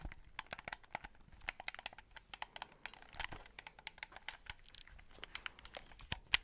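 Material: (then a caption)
Plastic. Fingertips click the buttons and tap the shell of a white, hollow plastic game controller held close to the mic. The result is a quick, uneven string of short, dry, bright plastic clicks and taps, each dying away almost instantly.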